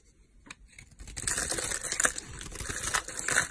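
A snap-off utility knife blade scrapes and cuts crumbly flakes off the edge of a solid, rectangular, stamped green olive soap bar held in the hand. Dry, crisp, bright crackling and crunching scrapes start softly and grow louder and denser. Each cut ends quickly with no ring.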